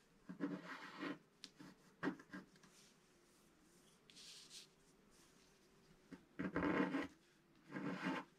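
A wooden stylus scratches the black coating off a flat sheet of scratch-art paper. It makes a series of dry, rasping strokes, some brief and some longer and firmer, separated by quiet pauses. The scratching is close and soft, with a low-mid body and a faint bright edge.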